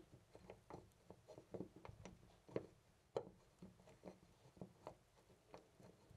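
A loose brass-finish metal door knob on a white panel door is gripped by hand and rattled back and forth. The result is a quiet, irregular string of short, dry clicks and knocks with a mid-pitched clatter and almost no ring, with a few sharper knocks standing out.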